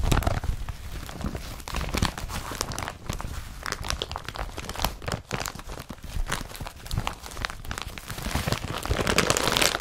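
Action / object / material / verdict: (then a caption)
scrape / woven polypropylene carrier bag / polypropylene / none. Fingers rub and crinkle the woven surface of an empty blue woven polypropylene IKEA BRATTBY carrier bag that lies spread out. A dense, continuous stream of papery crinkling and crackling with a bright hiss rises and falls, growing louder toward the end.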